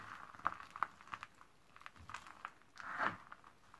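A pile of thin, dry purple Camay Magique soap shavings is crushed, squeezed and rubbed with bare hands and fingertips on a white table. It makes quiet, crisp crinkling crunches with short, dry snaps centered around 1.2 kHz and little low end, ending in a longer, louder crumbling squeeze.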